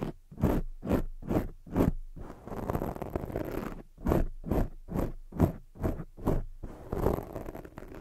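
Long jeweled acrylic nails scratch fast from both sides across a soft black foam microphone cover. Quick, rhythmic scratching bursts alternate with stretches of continuous rubbing. The sound is a dense, muffled crackle with a strong low rumble and faint bright hiss at the top of each stroke.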